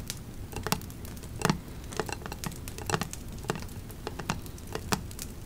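Long nails scratch along the raised embossed lettering of a black metal candle lid and tap its flat surface. The result is a steady patter of quick, light, dry clicks and scratches with almost no ring, over a faint low background rumble.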